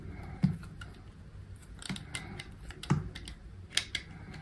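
A utility knife blade shaves thin slices off a small, solid pink soap bar held in fingers with long pink nails. Short, crisp scraping clicks and soft low thuds sound at irregular intervals over a faint background. Some cuts end in a bright, sharp tick.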